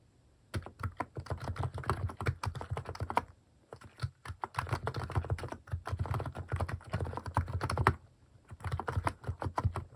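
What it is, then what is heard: Plastic mechanical keyboard being typed on. Fingertips type on a white-case plastic mechanical keyboard fitted with pastel plastic cat-shaped keycaps, producing rapid clacking keystrokes with a deep, thocky low end. The typing comes in bursts separated by short pauses, and each key strike stops quickly with almost no ring.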